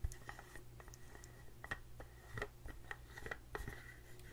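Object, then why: Small plastic screw-lid jar. Long nails scratch and tap the white screw lid and sides of a small blue plastic face cream jar held in one hand. Quiet, dry scratching is broken by short, light plastic taps that die away almost instantly, over a steady low hum.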